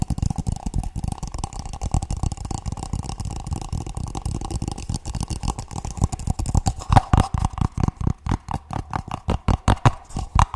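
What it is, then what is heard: Paper cup. An empty printed paper cup with a purple base, hollow and held in both hands, is tapped rapidly by fingertips on its sides and bottom. The taps are dull, low, hollow knocks with almost no ring, running in a dense flurry that spreads into more distinct, slightly louder taps toward the end.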